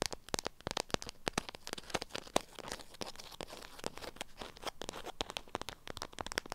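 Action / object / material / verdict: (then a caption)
tap / beeswax-coated cloth wrapped around a small item / waxed fabric / none. Long acrylic nails tap and scratch a lemon-print beeswax cloth wrapped around a small item. Rapid, sharp clicking taps mix with bright crinkling and scratchy rustles from the stiff waxed fabric, with little low end.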